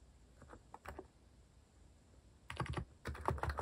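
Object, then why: Mechanical keyboard with plastic keycaps. A compact white-cased mechanical keyboard with cat-themed plastic keycaps is typed on by fingertips. A few soft, scattered keystrokes come first, followed by two louder bursts of rapid clacking with a deep, thocky body and short, dry clicks.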